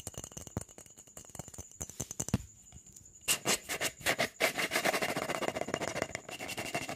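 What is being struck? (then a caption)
Clear plastic jar with lid. A hollow, apparently empty clear jar, probably plastic, with an orange lid is held close to the mic while fingertips and nails scratch and rub its sides fast. The result is a rapid, dense stream of bright, dry scratching and tapping, quieter and sparser at first and then louder and busier from about three seconds on.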